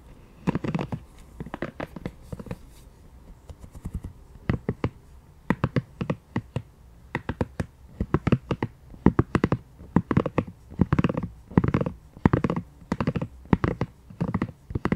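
A pink silicone scalp massager has its bristles flicked and scratched with long nails and fingertips. The result is a fast run of short, dry, scratchy clicks and rustles that stop instantly. They come in quick bursts, with most of their weight low and a little brightness on top.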